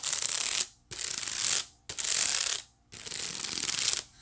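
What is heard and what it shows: Long nails scratch along the woven ridges on the side of a white wicker basket in four separate strokes. Each stroke is a bright, high, ratchet-like rasp with no low end, and short pauses fall between the strokes.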